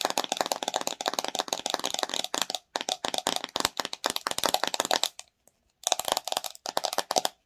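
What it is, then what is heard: Plastic slime jar with screw lid. Long nails tap and scratch rapidly on the white ridged plastic screw lid and the sides of a plastic "Watermelon Fluffy Slime" jar full of pink slime. The result is a dense run of short, bright, dry clicks and scratches with almost no ring. The tapping pauses briefly near the middle and again for about half a second before resuming.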